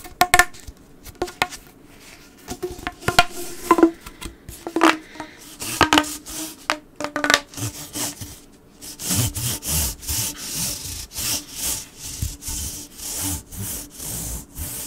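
A hollow blue corrugated plastic pop tube is held on a desk while fingers rub and drag across its ridges. Scattered sharp clicks and plasticky taps with a short ringing tone come first. Then a steady run of bright, sawing-like rasping strokes follows in a regular rhythm.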